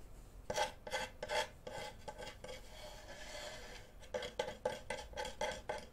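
Fingernails scratch and rub along the surface and edge of a flat, solid, light wooden cutting board held in front of the microphone, with a wooden-handled knife lying on top. Short, dry rasping strokes with a woody midrange tone and bright scratchy edges come in quick bursts, easing into a steadier rub in the middle before the strokes pick up again.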